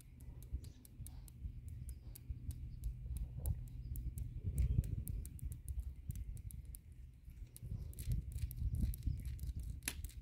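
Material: Concrete.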